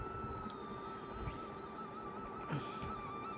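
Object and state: Nothing is struck.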